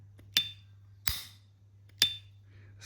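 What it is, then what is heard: Well-used metal lighter lid with a weak ping. A well-used S.T. Dupont Line 2 metal lighter, many years old, has its lid snapped open four times. Each opening gives a sharp click with only a slight, brief ping near 3.5 kHz, not as sharp or loud as on less-used lighters of the same model. The weakened ping is put down to use and dirt inside the lighter.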